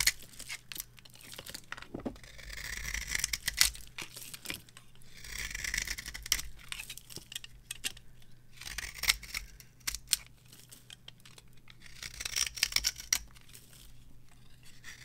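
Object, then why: Bar of soap scraped by a metal knife. A metal knife scrapes the cut face of a solid, dry, varnished bar of soap held upright in the hand, shaving it off. Bright, crackly scraping swells in several long strokes, with sharp ticks and crumbly crunches between them. A faint low hum runs underneath.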